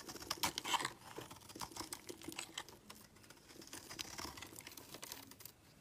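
A palm-sized solid purple Lux soap bar, held in one hand, is shaved with a steel utility knife blade, carving off curls. Quick, irregular scraping strokes crackle with bright, crisp detail, the densest and loudest in the first second, then continue more softly and fade out.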